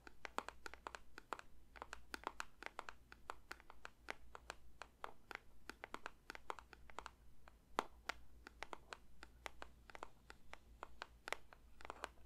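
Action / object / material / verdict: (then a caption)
tap / paper box / paper / none. Fingertips lightly tap a paper box in quick, irregular bursts, each tap a short, dry click with a papery brightness that dies away almost instantly. A steady low hum runs quietly underneath the whole time.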